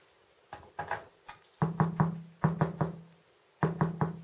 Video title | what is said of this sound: Le pain au levain de 2 kg (2) par Henri Granier et opain.com | il faut que ça sonne creux, comme ça